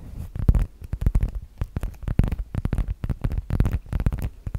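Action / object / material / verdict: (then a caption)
tap / leather zip-around wallet / leather / none. Long nails tap and scratch the flat surface of a medium-sized black leather (possibly faux) zip-around wallet, held in both hands in front of the microphone. A rapid, uneven run of soft, dull, low thumps is heard, with short scratchy brushes between them and almost no bright content.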